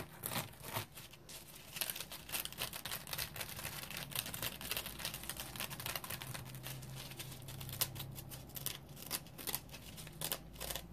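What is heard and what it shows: Fingertips and nails scratch the face and serrated edge of a dry, round yellow polymer foam scrub sponge with a smiley face. The result is dense, bright, crackly scratching in rapid, uneven bursts that sound like crinkling or tearing. A faint low hum sits underneath throughout.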